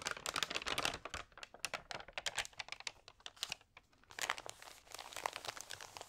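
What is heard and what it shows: Fingertips with long nails turn the pages of a thin, water-sprayed glossy food magazine and rub them flat, crinkling the damp paper. Dense, crisp, bright crackles and rustles come in quick bursts with a brief lull near the middle before the crinkling picks up again.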